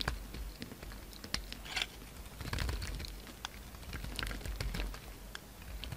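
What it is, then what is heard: Bar of soap being carved. A solid pink bar of soap, held in the hand, is carved into facets with a utility-knife blade, scraping off chunks. Quiet, crisp scrapes and short, crunchy clicks and ticks come in an irregular patter over a low, steady rumble, each cut dying away almost instantly.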